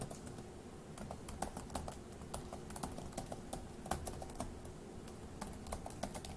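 Fingertips type on the plastic keys of a dark grey laptop keyboard, producing a steady run of short, bright clicks and taps. The keystrokes sound at an uneven pace over a low, steady background hum.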